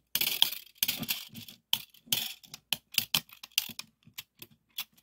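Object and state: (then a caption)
Steel tape measure blade. The thin yellow painted steel blade of a small red plastic 2 m tape measure, pulled out on a wooden table, is tapped and pressed along its length with fingertips and nails. It gives a series of bright, dry clicks and crisp scratchy taps, some longer rustling strokes, with almost no low end and no ringing.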